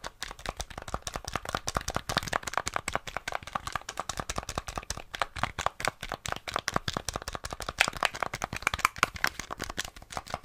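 Fingertips and nails quickly tap and click the buttons and casing of a small, flat, hollow grey plastic NES gamepad held in both hands. The result is a fast, dense stream of short, dry plastic clicks with almost no ring, bright and centred around 2.4 kHz.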